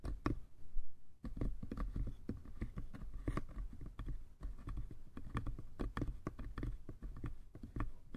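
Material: Wood.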